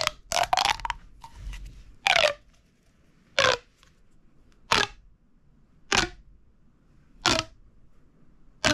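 A small, hollow, red-orange corrugated plastic pop tube toy is held in both hands over a wooden table and stretched and compressed. Its ribs give nine short, bright popping, crackling bursts: a quick cluster at the start, then single pops at fairly even gaps, with quiet between them.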